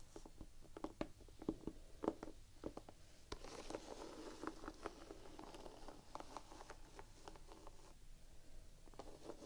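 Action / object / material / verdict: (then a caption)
tap / rubber sneaker outsole / rubber / none. Long painted nails tap and scratch the gum-brown, textured rubber outsole of a Vans Quasi Signature sneaker, held horizontally and solid. Quiet, dull, muffled clicks come at an uneven pace over a soft, gritty scraping rustle, and each tap dies away almost at once with no ring.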